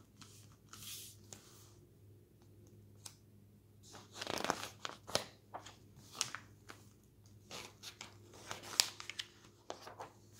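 A glossy paper magazine is shown by its cover and then opened, and fingertips lift and turn its pages before the hand presses the spread flat and rubs it. The crisp, bright paper rustles and crinkles come in uneven bursts over a faint low hum, with the louder page turns and swishes standing out.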